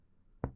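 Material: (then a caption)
Body tissue. A single percussion tap on the human chest wall at the level of the fifth rib gives a dull, short thud with little ring. The dullness comes from the lung overlapping the solid liver.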